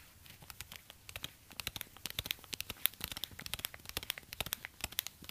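A black suede high-heel ankle boot is held in one hand in an orange rubber glove while the other gloved hand's fingertips tap and scratch the suede upper. The result is a quick run of dry, crackly taps and scratches, bright and sharp with almost no ring, rising slightly in density and loudness as it goes.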